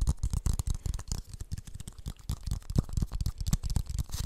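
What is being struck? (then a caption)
Plastic funnel. Fingertips and nails tap and scratch a hollow, empty blue plastic funnel held near the microphone, making a rapid, continuous pattering like a brush. The taps are short, dull and boomy, with most of their weight in a low thump around 105 Hz, and a faint bright scratchy hiss sits on top.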